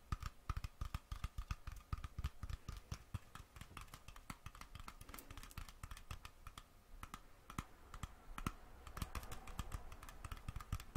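Fingertips and nails tap quickly on the metal screw lid of a small glass mason jar with colored contents held in the hand. The result is a fast, irregular stream of dry, sharp clicks with a soft low thump and a faint metallic ring around 1.2 kHz that dies away almost at once.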